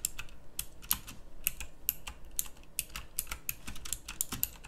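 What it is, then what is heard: Plastic mechanical keyboard. Fingertips with long nails type on a pink backlit mechanical keyboard with round plastic keycaps. The result is a quick, steady run of sharp, bright plastic clicks, each dying away almost at once, over a faint low hum.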